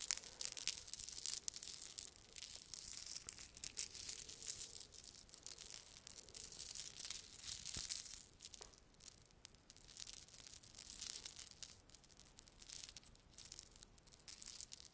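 A gold-tone metal chain necklace with small, solid links is gathered in the hand while long nails rub and run through the links. The links jingle in a quiet, continuous stream of bright, crisp clinks and scratchy rubbing. The sound is almost entirely high-pitched, with very little low end.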